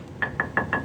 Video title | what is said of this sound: Suzuki Jimny Walk Around Pre Buy Rust Check | give a quick tug, quick tap. Make sure it sounds like metal.